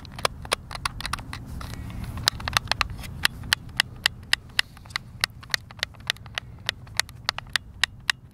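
Thumbs click and tap the face buttons of a white, hand-sized, hollow plastic Xbox controller. The result is a quick, uneven series of sharp, bright clicks that die away at once, over a soft low rumble.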